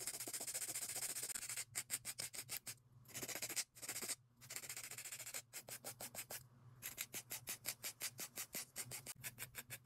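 A gloved hand files long, thin, hollow-shelled clear plastic (ABS) press-on nail tips glued onto the fingers with a white abrasive nail file. A continuous bright rasping rub gives way to quick, rhythmic back-and-forth scratching strokes, with brief pauses, over a faint low hum.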